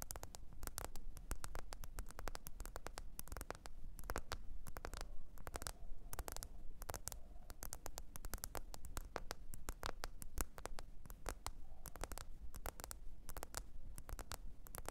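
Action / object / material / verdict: tap / smartphone with glass back / glass / none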